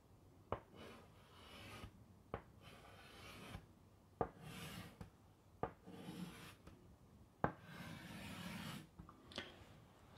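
White chalk scratches and rubs across a large, flat black chalkboard in a wooden frame held upright, writing "Sleep" and then underlining it. Bursts of dry, bright, raspy stroking alternate with seven short, sharp taps as the chalk meets the board, each dying away almost instantly.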